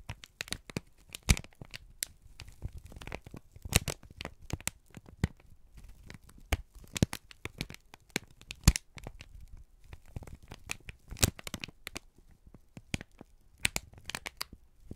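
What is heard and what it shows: A wrinkled, crumpled brown kraft paper strip is squeezed and crinkled by both hands. The result is a dense run of sharp, dry crackles and snaps with bright edges and a soft low rustle beneath. Dozens of quick bursts spread unevenly across the clip, each dying away almost instantly.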